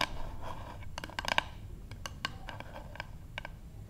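Long acrylic-painted nails of both hands tap on the flat back of a light, solid wooden paddle hairbrush lying on a table, recorded close up. Quick, dry clicks with a woody knock around 950 Hz come in irregular bursts, clustering near the middle and then spreading out. Each tap dies away almost instantly over a faint low hum and soft scratchy rustling.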